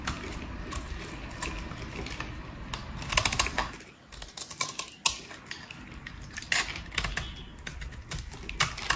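A metal utility blade shaves flakes off a solid, speckled pink bar of dry soap held in the hand. It makes rapid, crisp scraping and cutting clicks with a bright, dry edge, which briefly quiet around the midpoint before sharp cuts resume.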